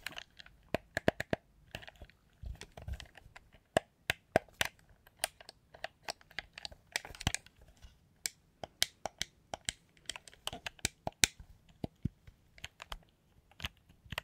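A black, hollow, handheld plastic game controller is held close to the microphone and handled with the fingertips and long nails, its buttons pressed and clicked. Sharp, dry, bright clicks and taps sound in an irregular rapid stream, with faint low rustling and thumps underneath.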